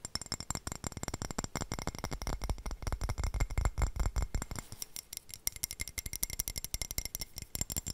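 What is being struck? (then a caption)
Ceramic floor tile. A floor tile is tapped rapidly and irregularly, giving short, dry clicks with a low thud beneath them and no ring. For the first half the taps are dense with a heavier low end, then they become lighter, sharper and more spaced out.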